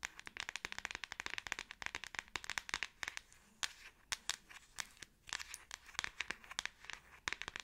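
A Samsung smartphone in a solid, hand-sized black plastic back case is held in both hands and tapped on the back with long acrylic nails. The result is a fast, irregular stream of sharp, dry clicks that are bright, with almost no low end and no ring. The clicks come in quick bursts separated by brief pauses.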